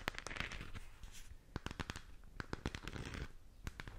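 Long acrylic nails scratch and tap the surface of a hollow plastic galaxy moon lamp. Quick, sharp clicky taps with a dull, hollow low thump are heard over a continuous bright, scratchy rustle, and each tap dies away almost instantly.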